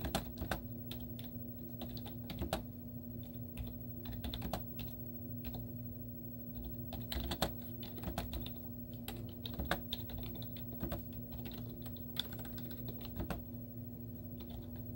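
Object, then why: Plastic computer keyboard. Both hands type continuously with fingertips and short painted nails on a white plastic computer keyboard with cartoon stickers on the keys. Quick, dry clicks and taps follow one another over a steady low hum.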